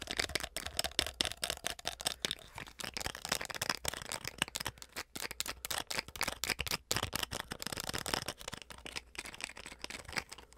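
Long acrylic nails rapidly tap and scratch the top and sides of a small, hollow white plastic flip-cap bottle with its cap closed. The result is a fast, irregular stream of sharp, bright clicks and dry scratchy rasps that stop dead with no ring.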